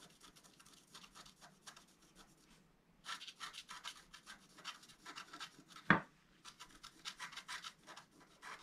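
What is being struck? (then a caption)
Wax-coated scratch-art card scraped with a wooden stylus. A wooden stylus point scratches the top edge of a flat black-coated scratch-art card. The result is a series of soft, dry rubbing and rasping strokes with bright, hissy texture, quieter in the first few seconds, then denser, with one sharper tick near the six-second mark.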